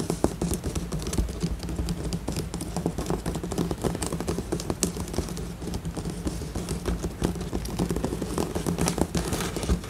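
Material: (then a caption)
Cardboard. Long acrylic nails on both hands scratch and tap a large, flat, assembled cardboard jigsaw puzzle with a glossy printed tiger cartoon, lying solid on a surface. The result is a dense, steady stream of quick, dry clicks and scratchy taps with a soft, low body, over a faint steady low hum.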